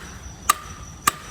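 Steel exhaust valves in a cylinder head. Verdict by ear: Well-seated.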